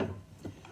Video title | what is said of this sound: Building the gear train (video 1) | if nothing's rattling then it's good means your screws are tight